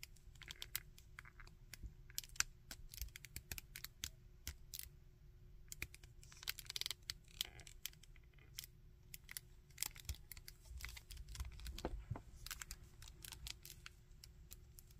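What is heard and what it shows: Fingertips bend the small jointed legs of a plastic Iron Man action figure and scratch along the legs. The result is a quiet, steady stream of sharp, bright plastic clicks and scratchy ticks that die away instantly, over a soft low rumble and a faint steady hum.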